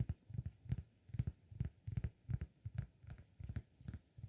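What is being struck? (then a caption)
Flat cork disk. Fingertips tap the surface of a round, flat, solid cork disk held in one hand. The result is a quick, uneven run of soft, dull, low thuds centered around 100 Hz, each dying away almost at once with no ring.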